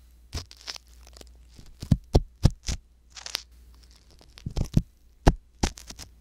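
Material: Silicone.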